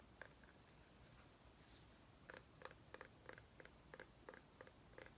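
A small white ribbed mini pumpkin, held in both hands, is tapped and scratched with long nails. After a quiet stretch of faint scratching, a roughly once-per-second run of short, soft taps begins. Each tap is a dull, hollow knock with a brighter click on top that dies away almost at once.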